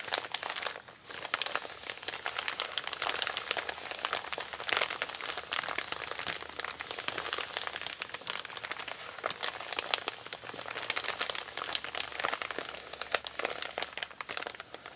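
Both hands with long pink nails scratch and rub a flat, empty brown kraft paper Amazon mailer printed "Recycle this mailer just like a box," crinkling it. The sound is a steady stream of dry, bright crinkles and sharp scratchy ticks with almost no low end. It continues unbroken for the whole clip.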